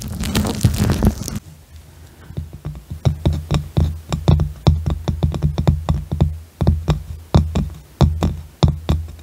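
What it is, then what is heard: Round wooden box lid. Fingertips and nails tap and drum on the flat top of a light-coloured round wooden box lid. It opens with a dense, bright scratching rustle for just over a second, then a short pause. Many quick, dry taps follow, each with a low, hollow, resonant thump that dies away almost at once.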